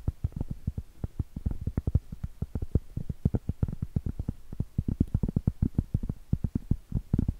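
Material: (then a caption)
Cork. Long pointed acrylic nail tips tap and scratch the surface of a round solid cork trivet in a rapid, uneven rhythm. Each tap is a dull, low, very short knock with no ring, and faint soft scratching fills the gaps between them.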